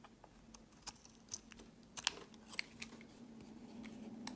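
A metal blade shaves the end of a hand-held solid cream rectangular bar of soap into curls. About eight short, bright, crisp scrapes come at uneven intervals over a quiet background with a faint low hum.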